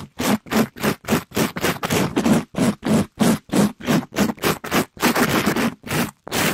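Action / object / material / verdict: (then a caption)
scrape / polyester mesh scrub sponge over foam / polyester mesh / none. A pink, sparkly, palm-sized glitter scrub sponge of polyester mesh over foam, soft and flexible, is held in a black nitrile-gloved hand and quickly brushed and scraped against a microphone grille, squeezed and bent as it moves. About two dozen rough, scratchy rasping strokes come in a fast, slightly uneven rhythm of roughly three per second. Each stroke is a broad, noisy scrape with a low rumbling undertone and a bright hiss, separated by brief silences.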